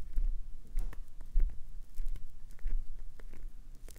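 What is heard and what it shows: Long acrylic nails scratch and scrape a clear green solid glycerin soap bar with an already scraped surface, building up shavings. The result is quiet, irregular scratchy strokes and soft scrapes with short, dull rasps and no ringing.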